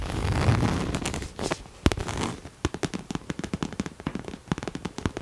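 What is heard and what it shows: Long nails scratch and then tap on a hollow pink cherry-print coated canvas Coach crossbody bag held close to the mic. A steady, dry rustling scrape fills the first two seconds, followed by a run of quick, irregular crisp taps. The taps have a low, hollow thump and die away almost instantly.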